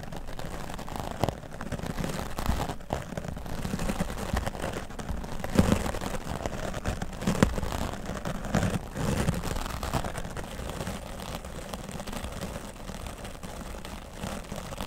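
A grey foam microphone windscreen is brushed with a wooden-bristle dry brush, first across the top and then along the side. The sound is a steady, muffled scratching and rustling that sits mostly in the low range. Occasional louder swipes stand out along the way.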